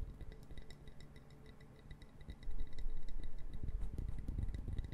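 Long fingernails tap quickly and click the interlocking pieces of a small brown wooden puzzle box held in the fingers. The dull, low-pitched clicks come in a fast, somewhat irregular patter. They turn noticeably louder and heavier about halfway through.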